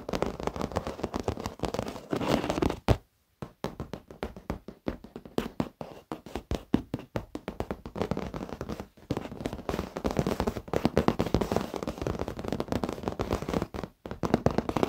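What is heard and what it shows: Fingertips of both hands tap rapidly on the black padded leather surface of an office chair. The result is a dense stream of short, dull, muffled thuds centered in the low-mids with little brightness, broken by brief pauses near 3, 9 and 14 seconds.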